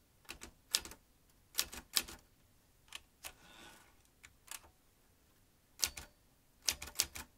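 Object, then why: Metal manual typewriter keys. Fingertips type quickly on the round keys of a vintage metal manual typewriter, producing sharp, bright clacks in short irregular bursts separated by pauses. Each strike is crisp and dies away almost instantly, with a faint soft rustle partway through.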